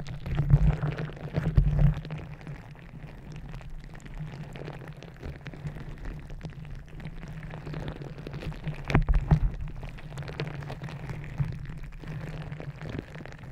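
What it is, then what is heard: Gel-bead squishy stress ball. A green rubber gel-bead squishy stress ball covering the top of a microphone is squeezed and scratched with long nails. The sound is a deep, muffled rumbling squish full of dense, crackly rubbing and popping. Louder squeezing bursts come near the start and again around nine seconds, over a steady low hum of handling.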